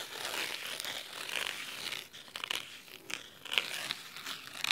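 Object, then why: Cloth-covered hardcover book. Fingernails scratch the cloth top cover and spine of a large red cloth-bound hardcover book. The result is a crisp, bright, crinkly scratching in quick, irregular strokes, with almost no low end and a few sharper accents.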